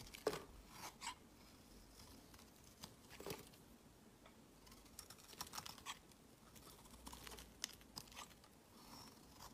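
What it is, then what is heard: Bar soap being carved. A metal utility blade scrapes long curled shavings off a solid, rectangular bar of lavender soap held in the hand. Quiet, dry scraping and crinkling strokes come in short bright bursts over a soft background hiss.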